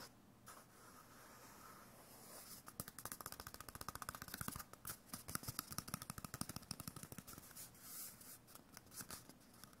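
A small hollow white cardboard tube, likely a toilet-paper core with a face drawn on it, is held in one hand and rubbed and scratched with the fingertips of the other. A soft, quiet papery rubbing gives way to a rapid run of short, dry scratches that rise and fall in bursts, with a bright, crisp texture and a faint low hollow body. The scratching stays close and quiet throughout.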